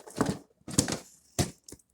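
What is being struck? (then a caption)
Cardboard box holding plastic marble run track pieces. An unopened cardboard box holding plastic marble run track pieces is shaken, and the loose pieces inside rattle and clatter. The sound comes in several dry, crunchy bursts with strong low-end thumps, separated by brief silences, and ends with a small final rattle.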